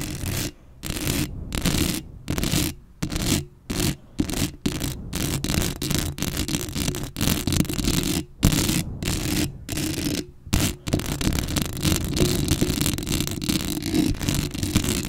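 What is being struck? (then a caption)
Metal mesh microphone grille. Long acrylic nails on both hands scratch and rub directly on the hollow, rounded metal mesh grille of a black Blue Yeti USB microphone. Dense bursts of scratchy friction alternate with brief silences, combining a heavy low rumble with a bright, hissy rasp. The rubbing grows nearly continuous toward the end.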